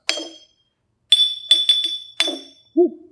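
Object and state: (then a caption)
Empty glass giving the highest pitch. An empty drinking glass, one of four glasses holding different amounts of coloured water, is tapped with a ruler and gives the highest pitch of the set because it holds no water and is full of air. Six bright, ringing taps near 3.5 kHz are heard, the middle ones in quick succession, followed by a brief low tone at the end.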